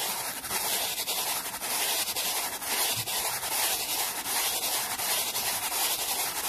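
A small solid wooden board resting on a towel is brushed rapidly with a black-bristled brush held at the fingertips. The result is a steady, bright, hissing scratch of quick strokes, almost all high-end, with little low rumble.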